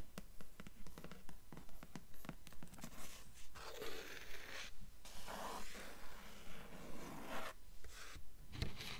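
Long nails rub and scratch across the cover and spine of a dark hardcover book. The result is a steady, rapid rhythm of soft, dry scraping strokes, each with a brief hiss that fades quickly over a low hum.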